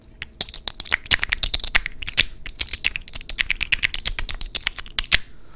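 Fingernails tap and scratch across the raised studs of a hand-sized black glass perfume bottle with a dark cap. The result is a rapid, irregular run of sharp, bright clicks with short scratchy rasps between them. Each click is crisp and dies away almost at once.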